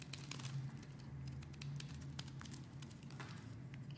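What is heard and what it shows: A metal blade shaves curls off the edges of a pink solid bar of soap held in a hand with dark nails. Quiet, crisp crinkling and scraping strokes flick through the clip as bright, brief streaks over a steady low hum.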